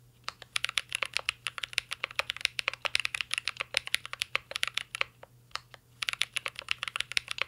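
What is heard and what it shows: A mint-green Cyberboard R3 mechanical keyboard with plastic keycaps and a metal case is typed on continuously with the fingertips. About fifty sharp, bright, clicky key taps come in quick bursts, with a brief pause near the five-second mark. Each tap is very short and crisp, with almost no low end or ring.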